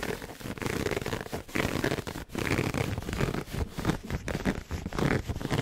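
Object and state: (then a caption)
Pleated satin heart gift box. Fingernails scratch quickly across the fabric pleats of a red pleated satin heart gift box held close to the mic. The result is a dense, raspy, zipper-like scraping with a crackly texture and heavy low body, coming in rapid bursts with brief dips between strokes.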